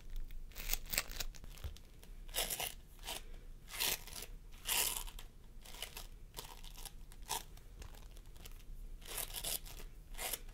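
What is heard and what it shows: Fingertips of both hands press and squish a pastel mound of sticky floam sculpting foam made of polystyrene beads on a wooden table. Bright, crunchy crackles and sticky popping bursts repeat in quick uneven clusters over a low background rumble.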